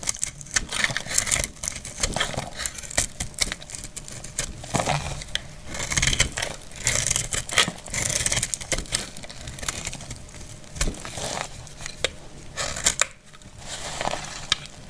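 A dry purple glycerin soap bar, held in the hand, is scraped and cut into shavings with a metal utility blade. The result is a dense run of quick, dry, crisp scraping and crackling with bright, high-frequency texture. It comes in uneven bursts throughout.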